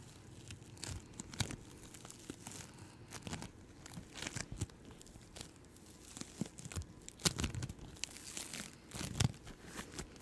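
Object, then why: Floam bead slime. Yellow-green floam bead slime is pulled apart and stretched between two hands with long-nailed fingertips. It gives a sticky, tearing crackle: quiet, dense clicks and pops with brief brighter bursts scattered throughout, over a soft low rustle.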